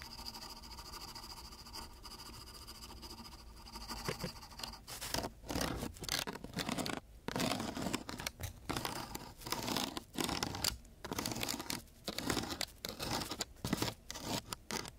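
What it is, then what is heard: Sandpaper sheet scraped with wooden sticks. Two thin wooden sticks are scraped over the gritty surface of a coarse sheet of sandpaper. After about four seconds of quiet, steady background hum, rough, bright, broadband scratching bursts begin, repeating in quick strokes separated by brief gaps.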